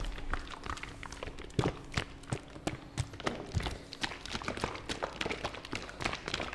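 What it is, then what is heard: Plastic fabric softener bottle. Fingertips tap quickly and irregularly on a medium white and blue plastic fabric softener bottle, hollow with liquid inside, held in a hand beside the mic. Each tap is a soft, low, hollow thunk that dies away almost at once, with a faint steady hum underneath.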